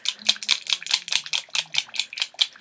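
A screw-top bottle of bareMinerals Bareskin serum foundation in shade Bare Caramel, its contents very liquidy, is shaken before use as its instructions require. About 13 quick, bright, rhythmic clicks and rattles are heard, sitting almost entirely in the high frequencies with no low end.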